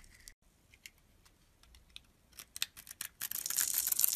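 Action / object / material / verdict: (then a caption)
scrape / bar of soap / soap / none. A metal utility blade scrapes the crusty surface of a solid, dark green, rounded, palm-sized bar of soap. Soft, scattered, bright scratches come first, building into a cluster of sharper scrapes. These give way to a dense, louder, continuous high-pitched scraping hiss for the final second.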